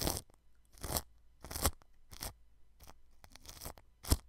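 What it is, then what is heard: Cling film brushed over a microphone. A paintbrush brushes clear cling film wrapped over a white microphone, just under the grille. Short bursts of crinkly, scratchy crackling come in separate strokes with quiet gaps between them; each is bright and hissy with a low thump underneath. The final stroke is the loudest.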